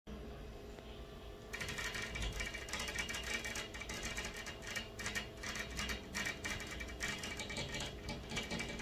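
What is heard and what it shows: Long fingernails of both hands tap from outside on a large, flat, fixed glass pane of a hotel room window set in a dark frame. After a quiet first moment and a half, a steady stream of rapid, bright, clicky taps patters on the glass with short ringing, over a low background hum.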